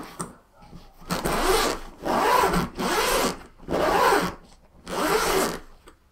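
Fingertips and nails scratch and brush the padded top of a large, closed, soft-sided black nylon fabric suitcase with a grey strap, lying flat on a table. Five broad, rasping strokes of fabric friction sweep across the surface, each a bright hiss with a faint rising-and-falling pitch, separated by short quiet pauses.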